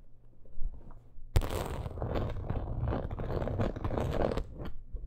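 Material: Leather.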